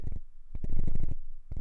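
A brand new Rode VideoMic NTG shotgun microphone mounted on a camera is shaken, producing bursts of low, dull rattling thumps as a loose internal capsule knocks around inside. The rattle is a fault.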